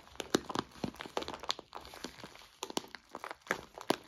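Fingertips squeeze and press a clear plastic zip-lock bag full of white soy wax flakes, crinkling the plastic and crunching the flakes inside. The clip is a quiet, dry series of short crackling bursts with bright edges and almost no low end, each snap dying away instantly.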